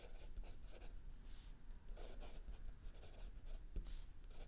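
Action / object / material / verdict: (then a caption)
scrape / paper notebook page under a pencil / paper / none. A mechanical pencil writes continuously on the lined paper page of a spiral-bound notebook lying flat on a wooden table, while an open paperback book sits still under the other hand. The result is quiet, uneven bright scratching in short strokes, steady throughout over a low background rumble.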